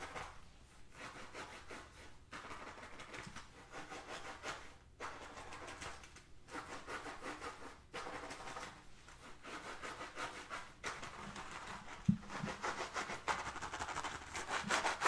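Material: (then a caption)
Faux leather. Fingernails scratch a black textured faux-leather drawstring pouch held upright, making bursts of dry, rasping scratching separated by brief pauses. The scratching grows louder and brighter toward the end, with a sharp tap near the twelve-second mark.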